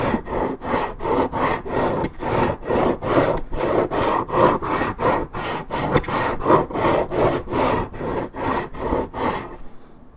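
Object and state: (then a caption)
Paperboard juice carton being scratched. Long nails scratch the top surface of a hollow Minute Maid orange juice carton made of coated paperboard. About 17 quick, rhythmic rasping strokes follow one another at a steady pace, each a dry, papery scrape centered in the mid-range. The strokes fade out just before the end.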